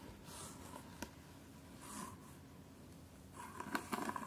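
Long nails tap and scratch across the top of a long, closed, hard jewellery case covered in patterned fabric. Soft, brushy scratching sweeps come and go, broken by a single sharp tap near the one-second mark. A quick cluster of crisp, slightly pitched taps closes the clip.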